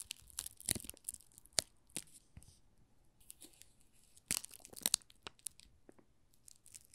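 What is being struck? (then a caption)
Soap bar wrapped in thin plastic film. A small solid pink rose soap bar wrapped in thin plastic film with a label is rubbed and scratched by fingertips and nails. The film gives off irregular, bright crinkles and crackles with sharp, quickly fading snaps over a quiet background.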